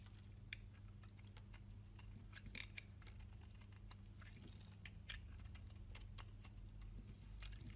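A solid rectangular bar of green-and-white striped soap, held in the hand, has its corner and face shaved with a box-cutter blade into small flakes. Quick, crisp, bright scraping clicks patter irregularly over a steady low hum.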